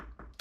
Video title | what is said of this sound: Détecter les murs porteurs et cloisons semi porteuses (danger ⚠️) | directement jointes par la colle, ce qui fait que on a ce bruit qui sonne plein